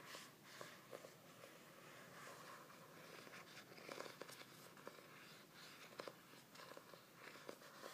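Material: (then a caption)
Laminated cardboard. Fingertips and nails tap and scratch the glossy laminated cover of a medium, solid hardcover journal printed with a stained-glass tree design. Quiet, dry clicks stand out over a steady, hissy scratching that sits mostly in the mids and highs, and each tap dies away almost at once.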